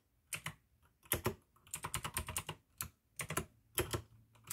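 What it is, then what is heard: Plastic mechanical keyboard. Fingertips of both hands type continuously on a full-size pink AUKEY mechanical keyboard with plastic keycaps and clicky blue switches. Bursts of sharp, bright clicks each carry a low plastic thud, with very short decay and brief quiet gaps between flurries of keystrokes.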